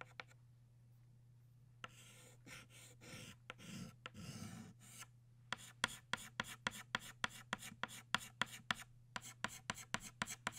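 Purple chalk held in the fingertips draws small leaf strokes on a flat black chalkboard with short scratching motions. After a few faint ticks and a stretch of softer rubbing strokes, a rapid run of about twenty crisp, bright scratches follows over a steady low hum.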